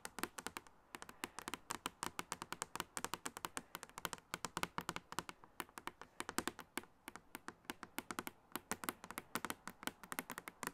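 Long acrylic nails tap quickly across the clear plastic lid of a medium, hollow makeup case with a silver frame, filled with cosmetics and held on the lap. The result is a steady stream of sharp, bright clicky taps with a midrange tone and almost no low end, each dying away almost instantly.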